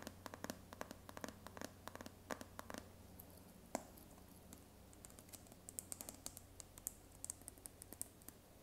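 Fingernails tap quickly on the lid and sides of a round, white, palm-sized plastic jar of body butter that is likely full. The taps are short, dry clicks with no ring, some louder and brighter than others, over a faint steady low hum.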